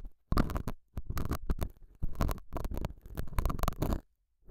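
A metal dental scaler hook scratches the surface of a small, solid, square beige felt pad mounted over a small lavalier mic. It makes close, dull, low-heavy rasping and rumbling scrapes in quick bursts, separated by brief silent pauses.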